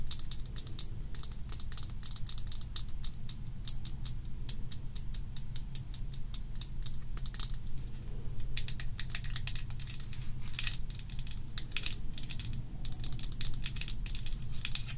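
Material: Glass.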